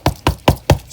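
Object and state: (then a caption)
Water-damaged soft RV wall panel. Four dull, low knocks on a leak-damaged fifth wheel RV wall panel, each dying away almost at once with no ring. The thuds sound mushy because the panel has gone soft from water damage.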